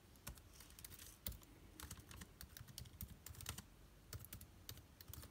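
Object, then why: Laptop keyboard with plastic keys and aluminium body. Fingertips type on the plastic keycaps of an aluminium laptop keyboard. Quick, irregular taps come in a steady stream, each a soft low thud with a bright click that dies away almost at once. A few keystrokes land harder than the rest.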